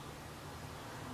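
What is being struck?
Nothing is struck.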